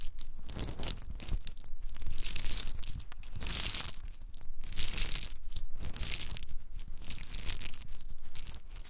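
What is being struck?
In-shell pine nuts.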